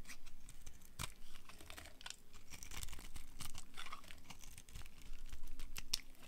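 A hand-sized bar of dry pink-and-dark-red striped soap, held in one hand, is carved and scraped with a small metal knife blade, so thin curls shave off and crumble. Irregular, crisp scraping and crackling strokes come with sharp, bright clicks and dry crumbling texture. By the end the bar is heavily shaved, with a pile of soap shavings lying around it.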